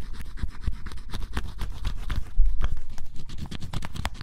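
A flat metal blade scrapes the black coating off the coloured area of cardboard scratch-off jigsaw puzzle pieces with a bunny drawing, leaving black flakes behind. Close, rapid scratching strokes repeat steadily, each a short dry rasp with a dull low thud underneath.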